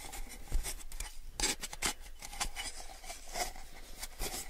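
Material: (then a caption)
Plastic. Fingertips rub and tap the side and rim of a small, clear, rigid plastic cup that is hollow and empty. Soft scratchy rubbing runs throughout, broken by short, bright, hollow taps that die away almost instantly over a steady low hum.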